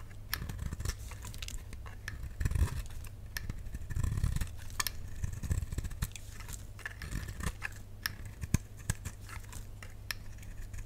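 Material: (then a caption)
Soap. A solid, dry pink bar of soap held in the palm is scraped with a flat utility knife blade, peeling off crisp shavings. Rapid, dry scratching clicks and short bright crackles repeat throughout, some louder bursts standing out, over a steady low hum.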